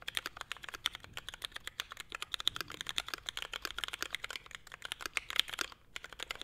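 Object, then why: Mechanical keyboard with plastic keycaps. Both hands type continuously with fingertips on a small, hollow-cased Forever 65 mechanical keyboard with a navy case, grey and white ABS plastic keycaps, Hyperglide MX Brown switches and a carbon fiber plate. A rapid, steady stream of short, bright clacks and taps fills the clip, with very little low end and each keystroke dying away almost instantly.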